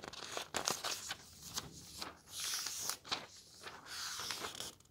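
Fingertips lift and turn the thin paper map pages of an open road atlas. Crisp, bright rustles and crinkles come in quick bursts, with soft sliding swishes between them as each page moves.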